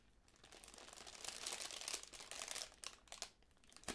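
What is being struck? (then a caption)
Tissue paper honeycomb ball. A small magenta tissue paper honeycomb decoration, folded flat and then opened into a ball, is crinkled and scratched by fingertips and long nails. Soft, bright, papery crinkling swells to a dense rustle in the middle, then breaks into a few sharper, separate scratches toward the end, with almost no low end.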